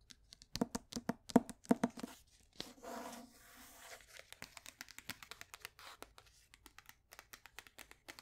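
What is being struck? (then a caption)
Paperback book with card cover. A closed paperback copy of The Grapes of Wrath, held in the hand, has its glossy cardboard cover and spine tapped and scratched with long nails. Quick, soft, dry taps arrive in uneven bursts, broken by a longer rasping scratch in the middle, then continue as lighter, sparser clicks. The sound stays quiet and close, with no ring after each tap.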